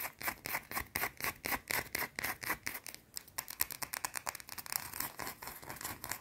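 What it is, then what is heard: Soap bar tapped and scratched with fingernails. A small, solid, round white soap bar held in both hands is tapped and scratched quickly with long blue-painted nails. Rapid, dry, bright scratching strokes come in a steady rhythm at first, then break into faster, lighter taps and scrapes. Each sound is crisp and dies away at once.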